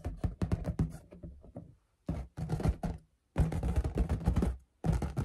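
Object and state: Latex balloon tapped and scratched with nails.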